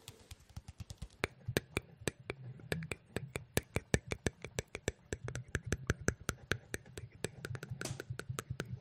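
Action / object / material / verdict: tap / hard plastic smartphone back cover / plastic / none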